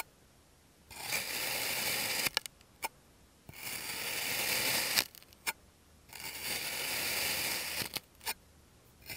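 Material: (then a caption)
Sand. A small, solid rose-shaped mold of purple kinetic sand is sliced with a clear plastic serrated knife. Three drawn-out, bright, gritty scraping strokes are heard, each followed by a few short, sharp clicks.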